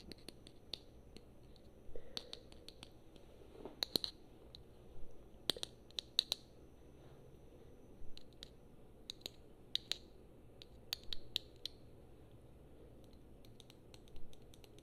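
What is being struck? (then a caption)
Small plastic figurine on a plastic base. A small solid plastic Super Mario amiibo figure on a black plastic base is held up and tapped and scratched with long painted nails. Sharp, dry clicks ring brightly, some alone and some in quick clusters, at an irregular pace with short scratchy bits between. Underneath is a low, steady background hum.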